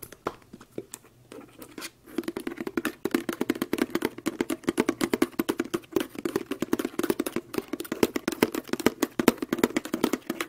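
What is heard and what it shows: A small, hollow white-and-pink plastic body lotion squeeze tube, partly full of lotion, is held in both hands close to the microphone and tapped and scratched with long acrylic nails. After about two seconds of faint, sparse scratching, a rapid, steady stream of crisp, short taps begins. The taps have a hollow, low-mid plastic resonance and bright clicky edges.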